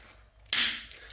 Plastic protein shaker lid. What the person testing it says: That is the snap that you need to know that your shaker is closed.